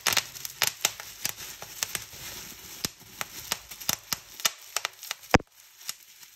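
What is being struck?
Plastic bubble wrap.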